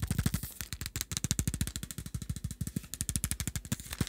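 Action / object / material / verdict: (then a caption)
tap / small plastic pill bottle with screw cap / plastic / none. A small dark plastic supplement pill bottle with a screw cap is held in the hands, its contents shaken while fingertips tap it rapidly. About 35 quick, dry taps sound over four seconds, each a short low thump with a bright rattling click on top that dies away almost instantly.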